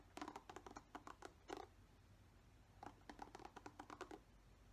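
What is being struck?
Plastic paddle hairbrush bristles.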